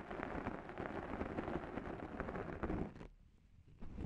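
Two small sponge scourers with abrasive pads, one held in each long-nailed hand, scratch and rub the top and sides of a black foam microphone windscreen. The result is a dense, crackling, rumbling scrape that runs steadily for about three seconds, drops to near silence, then resumes briefly at the end.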